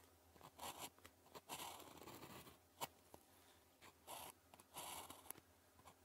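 The tip of a blue plastic ballpoint pen, held in the fingers, writes Chinese characters on a thin grid-printed calligraphy practice sheet lying flat on a desk. Bursts of dry, bright scratching strokes come in quick succession, separated by brief pauses and faint taps.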